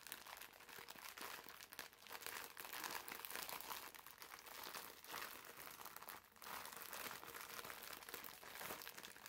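A green foam bath sponge wrapped in clear plastic film is pressed between the palms and squeezed, so the wrapper crinkles. A steady run of dense, bright crackling and crunching with almost no low end keeps going, dipping briefly near the six-second mark before picking up again.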